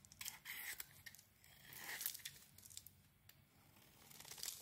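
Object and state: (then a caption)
Bar of soap being shaved. A utility knife blade shaves along the edges of a cream, rectangular solid bar of soap, producing crisp, bright scraping and peeling strokes. The strokes come in rough bursts with faint crinkly flecks in between, and there is almost no low end.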